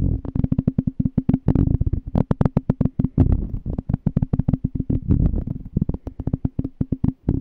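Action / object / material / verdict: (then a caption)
tap / small empty glass jar / glass / none. Fingertips tap and scratch the bottom of a small, clear, empty glass jar held on its side. The result is a fast, irregular run of short, dry, low taps, each dying away almost at once with a faint hollow tone. Occasional brighter clicks and scratchy brushes sit between them.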